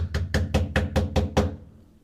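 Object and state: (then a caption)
Sheet-metal cab panel deadened by vibration-damping sheet. Seven knocks on the sheet-metal cab panel of a DTZ 5504NK tractor after a vibration-damping sheet has been glued onto it. Each hit is a low, dull thud centered around 90 Hz that dies away quickly with little bright ring. The damping has changed the sound compared with the bare metal.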